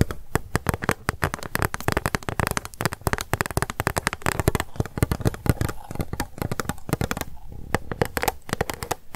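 An empty pink plastic cup, held sideways, is tapped rapidly with long acrylic nails. Dense, fast clicky taps run throughout with very short decay and a dull, low-weighted body.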